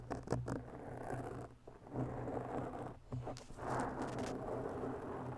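Long bare natural nails scratch a rounded, porous black foam windscreen on a microphone from both sides. The result is a dense, continuous scratchy rustle with a steady low hum, swelling and briefly dropping off a couple of times as the strokes shift.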